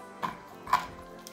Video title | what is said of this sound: La Cucina Di Valentina sort ses kit à pizza Bio et ses Lasagnes Maison | Le bord est hyper croustillant et au milieu, c'est fondant. Écoutez comment ça croustille.